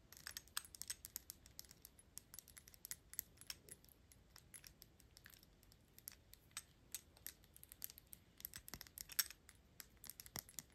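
Long acrylic nails quickly tap and scratch the gold metal horsebit cap of a Gucci perfume bottle, with fingers partly covering the cap. The result is a quiet run of rapid, bright, crisp clicks and scratches that die away almost instantly, mostly in the high frequencies with little low end.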